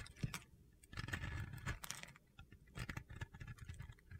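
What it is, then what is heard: Bar soap being carved. A metal box-cutter blade shaves flakes off a solid white Oscar de la Renta bar soap that is now partly carved, in repeated scraping cuts. Each cut makes a dry, gritty, crunchy scrape, with short bright crackles over a soft low thud, separated by quiet pauses.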